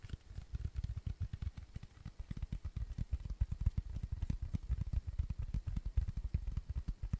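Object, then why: Cork coaster. A round, flat, tan cork coaster, thin and solid, is tapped and scratched with fingertips and nails close to the microphone. A rapid, steady stream of soft, dull, low thumps comes with faint scratching, each tap dying away almost instantly with no ring.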